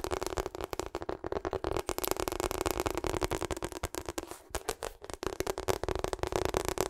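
A hollow pink and purple ribbed rubber hot water bottle is tapped and scratched with long acrylic nails while being turned in the hands. Quick, dense clicking taps and scratchy rubbing crackle with a dull mid-pitched tone, briefly thinning out before resuming.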